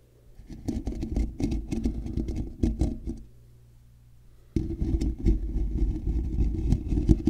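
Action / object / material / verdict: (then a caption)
scrape / woven metal mesh microphone grille / metal mesh / none. Fingertips and nails on both sides scratch across a hollow, black woven metal mesh microphone grille, producing dense, low, rumbling scrapes with rapid crackly patter. The scratching runs for about three seconds, drops to a quiet low hum, then abruptly resumes louder and continues to the end.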